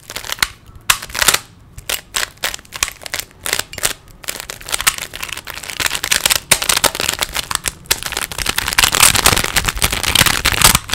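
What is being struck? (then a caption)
Plastic 3x3 puzzle cube. Fingertips turn the layers of a small, solid plastic 3x3 Rubik's cube, making sharp, bright plastic clicks. The clicks start as spaced-out single snaps, then speed up into a dense, continuous clatter. Each click is short and dry, with little low end.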